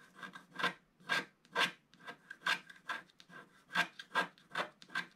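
A wooden stick scratches the black layer off a coated scratch-art paper sheet held flat by one hand. Quick, uneven strokes make dry, raspy scrapes with a bright hiss and a faint tonal squeak in each pass. Short silences fall between the strokes.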